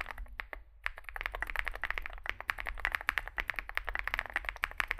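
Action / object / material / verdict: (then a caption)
tap / mechanical keyboard with plastic keycaps / plastic / none. Fingertips type continuously on a small 65% mechanical keyboard with a dark case and white and grey plastic keycaps. A dense, fast run of short, dry clacks centers around 1.8 kHz with bright, high tops, and there is almost no ring after each keystroke.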